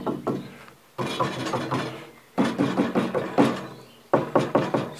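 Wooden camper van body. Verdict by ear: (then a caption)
Sturdy. Knuckles knock on the wooden structure of a pedal-powered camper van built from scrap, after 48 hours of drying and with the leftover pieces removed. Bursts of short, hollow, resonant knocks with a warm body around 280 Hz come in several groups, each tap decaying quickly. The structure resonates strongly and sounds sturdy.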